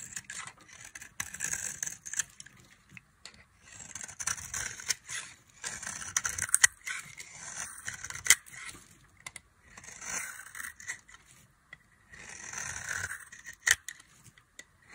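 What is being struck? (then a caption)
Soap bar scraped with a small knife. A small knife scrapes flakes off the surface of a solid, dry orange soap bar held in the hand. The strokes make bright, crisp, papery scraping bursts with almost no low end, separated by short quiet pauses and punctuated by a few sharp clicks.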